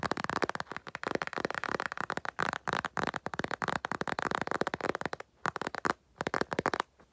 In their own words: 4:28 tapping on empty makeup bag